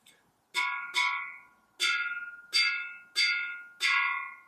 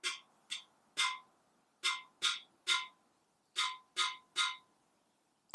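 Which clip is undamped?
The first.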